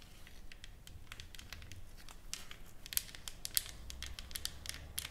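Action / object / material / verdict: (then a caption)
tap / painted wooden plaque / wood / none. Long acrylic nails from both hands tap and scratch a flat, solid painted wooden plaque lettered and decorated with flowers, lying on a table. The result is a quiet, steady patter of short, dry, bright clicks and scratchy rasps over a low rumble, with a few sharper taps standing out.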